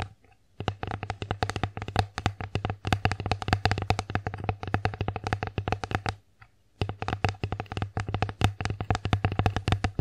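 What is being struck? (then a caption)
Wooden plate. Long acrylic nails on both hands tap fast on an empty wooden bear-face plate held upright. Dense, crisp clicks ride over a low hollow knock near 100 Hz, with a brief pause just past six seconds before the rapid tapping resumes.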